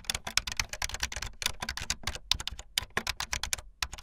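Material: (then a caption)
Plastic. Fingertips with long light-blue nails type fast on a full-size keyboard with white, blue and yellow plastic keycaps and a blue backlit frame. A rapid, uneven stream of bright, dry plastic key clacks with a little low thump underneath, each stroke stopping dead with no ring.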